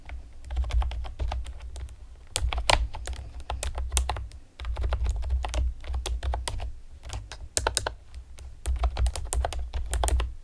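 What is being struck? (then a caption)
Plastic computer keyboard with round keycaps. Long painted nails and fingertips rapidly tap the hollow keys of a pastel plastic typewriter-style computer keyboard with round retro keycaps. The clicks are quick, sharp and bright, coming in dense, uneven bursts with brief pauses between them. A steady low hum sits underneath the whole clip.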